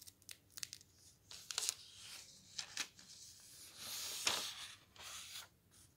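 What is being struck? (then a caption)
Thin paper pages of a softcover book. Fingertips slide along and turn the very thin paper pages of a thick softcover camping guide. The result is soft, bright papery swishes and rustles, with short crisp flicks mixed with longer brushing sweeps and almost no low end.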